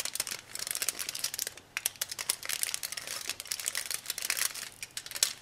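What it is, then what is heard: Aluminum foil being crumpled. A small sheet of thin aluminum foil is held in both hands while the fingertips crumple and crinkle it into folds. Dense, bright, crackling crinkles come in rapid bursts with almost no low end, pausing briefly near the middle before continuing.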